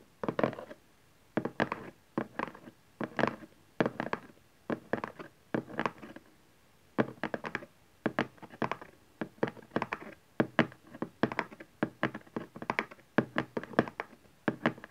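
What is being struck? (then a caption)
Cardboard box. Fingertips and nails tap the printed panel of a cardboard camcorder box lying on its long side on satin fabric. Quick bursts of short, dry, hollow taps come in rhythmic clusters separated by brief pauses. Each tap is a dull low-mid thunk that dies away almost instantly.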